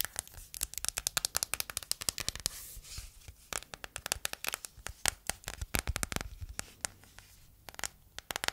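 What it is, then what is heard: Silicone phone case tapped and scratched with nails. An empty, small, hollow matte yellow silicone phone case is held in the hands and tapped and scratched on its back and edges with long painted nails. Rapid, dry, bright clicks and taps come in quick irregular runs over a soft scratching hiss. Each hit stops almost at once with no ring.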